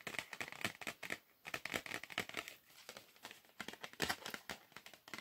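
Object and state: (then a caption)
Cardboard box tapped and scratched. A small, flat, red-and-black printed cardboard Perugina 85% chocolate bar box, likely holding a chocolate bar, is held in one hand and tapped and scratched with fingertips and nails. It makes quick, dry, bright tapping and crinkly scratching sounds with almost no low end. A brief pause and a softer stretch of scratching break up the tapping.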